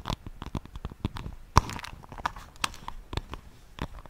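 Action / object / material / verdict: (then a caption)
tap / wooden paddle hairbrush / wood / none. Long nails tap and scratch the surface of a solid wooden paddle hairbrush held near the microphone. Around fifteen quick, dry clicks ring out with soft scraping between them, one sharper knock standing out near the middle.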